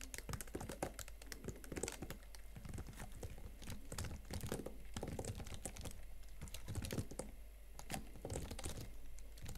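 Both hands type fast on the chiclet plastic keys of a slim Huawei MateBook X Pro laptop keyboard, with fingertips and painted nails tapping the keys. The result is a dense, steady run of short, dull clicks and light clacks that die away almost instantly, over a low constant hum.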